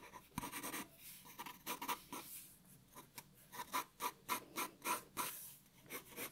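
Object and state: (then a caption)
Pencil drawing on paper. A black graphite pencil, held low, scratches shading and lines onto a white A4 paper sheet lying flat on a wooden table. About fifteen quiet, bright, raspy strokes come in an uneven rhythm, each a short scratch with almost no low end. They leave a dry scraping texture between brief pauses.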